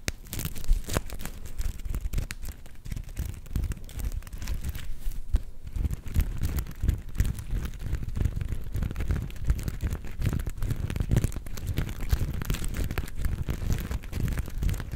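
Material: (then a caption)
Sequins. A palm-sized, soft, star-shaped plush covered in black and gold flip sequins is held close and scratched quickly with long nails. The result is a steady, dense stream of rapid crinkly scratching with a heavy low-end rumble and short, dry clicks throughout.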